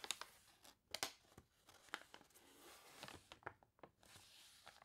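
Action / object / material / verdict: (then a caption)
scrape / paper catalog pages / paper / none. Fingernails rub and scratch across the wavy pages of a water-warped paper toy catalog, making crisp, bright crinkling and sharp scratchy ticks at an uneven pace. Then a page is lifted and turned with a soft, papery rustle.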